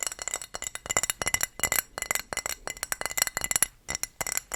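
A thrifted dark blue decorative ceramic wall tile, showing a donkey and women with fruit, with a plain ceramic back, is tapped in quick, uneven bursts. The taps give bright, glassy clinks that die away almost instantly, with very little low end.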